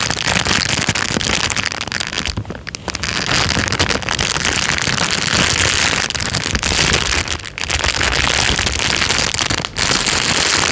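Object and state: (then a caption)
Crinkled plastic bag. A thin, empty, transparent plastic bag is held loosely in front of a microphone and crinkled and squeezed with the fingers of one hand. A dense, bright crackling rustle runs almost nonstop, easing briefly a few times before picking up again.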